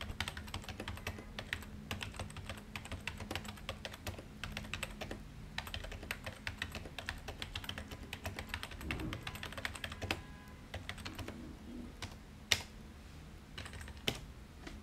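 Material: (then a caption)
Plastic. Fingertips of both hands type rapidly on a white full-size plastic desktop keyboard resting on an office desk, producing a dense run of light, bright key clicks. A steady low hum sits underneath, with a brief lull around the ten-second mark and a couple of sharper, louder taps near the end.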